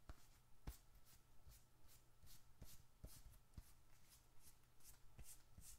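A small, closed, dark red leather bifold wallet, hollow with bills and receipts inside, is held in one hand and rubbed and scratched with the fingertips of the other. Quiet, regular scratchy strokes give off short bright hissing bursts, with about five soft low thumps among them and a faint steady low hum underneath.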